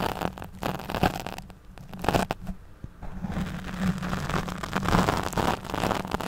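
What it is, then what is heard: Foam microphone windscreen being scratched. Long nails scratch the back of a black foam windscreen fitted over a studio microphone. The result is a dense, crackly rustling scrape with a low hum underneath and sharp bursts of scratching, which dip briefly into near quiet before continuing.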